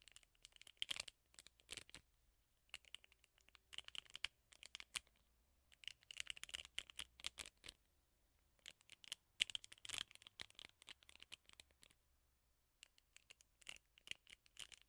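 Long fingernails scratch the black rubber bristle pad of a teal plastic hairbrush held close to the microphone. The result is quiet, bright, crackly scratching that comes in short bursts separated by brief pauses, with almost no low end.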